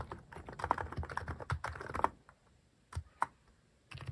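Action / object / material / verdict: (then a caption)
tap / mechanical keyboard with plastic keycaps / plastic / none. Fingertips type rapidly on a Hanmumu plastic mechanical keyboard fitted with cat-shaped plastic keycaps, producing a dense run of dry, short clacks with a low thock under each key. The burst stops, a few lone key clicks follow after a quiet gap, and typing picks up again at the end.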